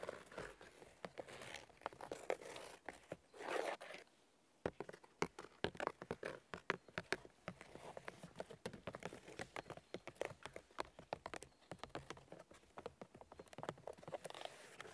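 Both hands tap and scratch with fingernails on the white papery bark of a large, solid fallen birch log. Quick, dry taps and crinkly scraping scratches follow one another densely, each dying away almost at once, with a short silent gap just after four seconds. The overall sound is quiet and close.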